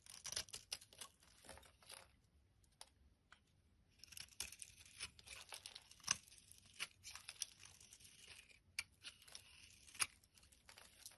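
A utility blade shaves flakes off a solid orange bar of soap held in the hand, making dry, bright scraping and crinkly carving strokes. The shaves come in short bursts with a quiet pause early on, then continue in a steady run of scrapes with a few sharper cuts.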